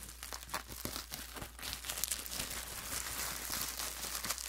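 A large, thin sheet of clear plastic bubble wrap is scrunched and crumpled with both hands and fingertips, making dense, bright crinkling and crackling. The crackling grows fuller and louder after the first couple of seconds, over a steady low hum.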